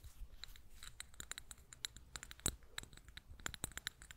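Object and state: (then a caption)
Ceramic cup tapped and scratched with fingernails. Long painted nails tap and scratch over a small, hollow, sage-green glazed ceramic cup with raised floral relief, held in both hands. A quick, uneven run of sharp, dry clicks with bright, high tones plays over soft scratching, each tap dying away almost instantly against a low background rumble.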